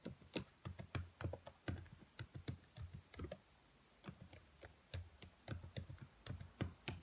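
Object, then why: Plastic laptop keyboard keys. Long nails tap and press the black plastic keys of a dark laptop keyboard, making quick, irregular, dry clicks with a soft low thump under each press. The taps fade almost instantly and come in uneven bursts, with a brief quiet pause partway through before the tapping picks up again.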